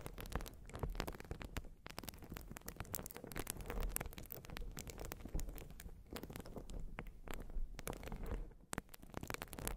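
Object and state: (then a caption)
Urethane foam sponge being scratched. A rectangular white open-cell urethane sponge, soft and porous, is held against the microphone and scratched and squeezed with long glossy nails. Dense, quiet crackling scratches and rapid clicks run throughout over a deep muffled rumble, with brief soft pauses between bursts.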